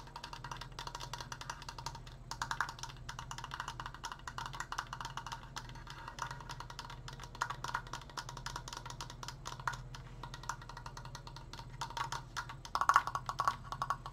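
Fingertips tap rapidly on a wooden Triforce decoration, producing a steady stream of short, dry, woody knocks with a hollow tone around 1.1 kHz and almost no ring. A low, steady hum sits underneath, and the tapping swells into a few louder, brighter clusters near the end.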